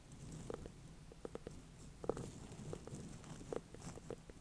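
A small ribbed orange-and-cream ornamental pumpkin with a firm rind, held in both hands on a bed of hay, is tapped and scratched with long dark-painted nails. Short, dull, hollow clicks around 460 Hz stand out over a soft, low rustling bed.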